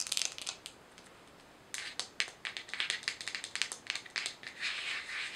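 A small, hollow white plastic jar with a screw lid is turned in the hands, tapped and scratched with long nails, and its lid is handled. A burst of bright, dry clicks and scratchy crinkles comes first, then a brief quiet pause, then a quick, dense run of sharp taps and scrapes. The sound has no low end and each tap dies away almost at once.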